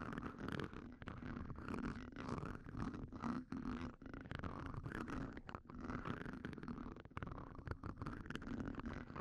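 The tips of two red wooden pencils, held in blue-gloved hands, scratch across the hollow steel mesh ball grille of a Shure SM58 microphone, with the pencil tips also touching each other. The result is a dense, continuous scratching and rasping texture with a strong low rumble underneath and a few brief quiet gaps.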